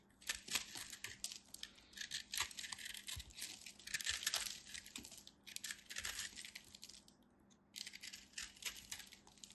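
A craft knife carves and scrapes the surface of a solid, fist-sized ball of compressed multicolored soap flakes held in the hand, and crumbs fall away. The result is a quiet, dense run of bright, crisp crunching and scratching bursts, irregular and closely spaced with short pauses between passes.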